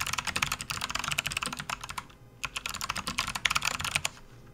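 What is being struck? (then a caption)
Plastic membrane computer keyboard. Both hands type with their fingertips on a full-size RGB-backlit plastic membrane gaming keyboard resting on a desk mat. The keys produce a rapid run of bright, short clicking taps. The typing pauses briefly near the middle, then resumes before fading into quiet at the end.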